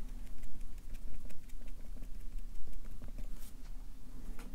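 A Sharpie marker stipples dot shading on a stack of white paper on a clipboard, its felt tip tapping the paper rapidly. The dry, bright taps patter in quick, uneven bursts over a steady low rumble.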